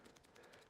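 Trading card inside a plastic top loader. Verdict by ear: Loose.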